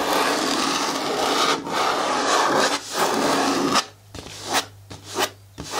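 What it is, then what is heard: Plastic bin scratched with nails. Long nails scratch and rub the side wall of a hollow, hard green plastic bin with a lid and a black handle. A steady, dense, raspy scraping fills the first four seconds, with a bright hiss and a midrange tone near 1.25 kHz. It then drops to quieter, separate short scratchy strokes.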